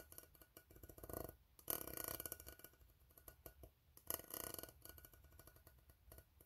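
An empty, hollow, ribbed steel tin can is tapped with fingertips while fingernails scratch across its ribs. Quick, dry taps with almost no ring are heard, along with bright, rasping scrapes that swell into two louder bursts.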